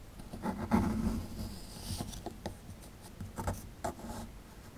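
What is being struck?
Small plaster excavation block.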